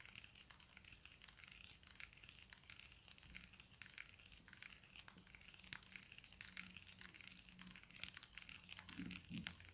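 Fingertips and nails tap and scratch the textured faces of a small, hollow, stickerless plastic Rubik's cube with blue faces and orange sides. The result is quiet, bright, crinkly scratching dotted with many short, dry ticks that die away at once, over a faint steady low hum.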